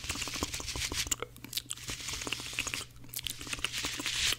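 Blue cellulose kitchen sponges, scrubber side out, are pressed, bent and rubbed together by fingertips. The result is fast, dense, bright crunching and crinkling with short crackles and a faint low hum underneath.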